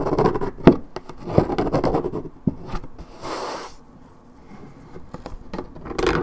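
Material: Paperboard.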